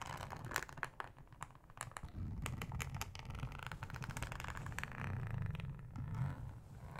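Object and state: Plastic cutting board being scratched.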